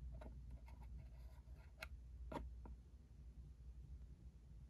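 A small, hollow, cube-shaped cardboard ink cartridge box is tapped and scratched with a fingertip and a short nail on its side and edge. Soft, dry ticks and light scratches sit over a quiet, steady low hum, with a couple of sharper clicks standing out near the middle.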